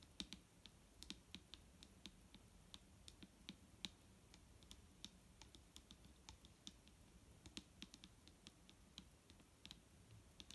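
A large, clear plastic micellar water bottle with a green cap, full of liquid and lying on a wooden table, is tapped with the long nails of both hands. The result is a quiet, steady stream of irregular, crisp clicking taps that are bright and short, with almost no ring, over a low soft background hum.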